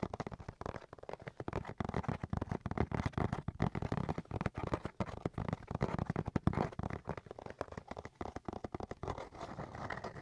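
A cardboard box is tapped and scratched in a rapid, continuous stream of soft, dull taps and rough scratching. The sound is quiet and muffled, mostly low and hollow with almost no high crispness, and each tap dies away almost instantly.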